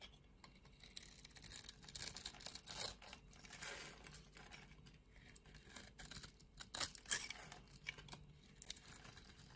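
A metal utility blade scrapes the scored surface off a solid lilac bar of soap held in the palm, shaving it away in strips and powder. The quiet, dry scraping comes as a run of short, bright, crackly strokes with soft crumbly texture and almost no low end.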